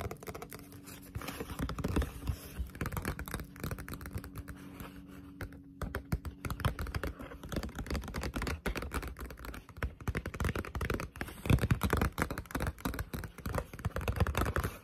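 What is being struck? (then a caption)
Thick paperback book with glossy paper cover. A thick Death Note Black Edition paperback manga lies flat while long pointed nails tap fast on its glossy cover. The result is a dense, continuous run of quick, dry clicks with little ring, weighted toward a soft low thump beneath the crisp ticks, pausing briefly near the middle before picking back up.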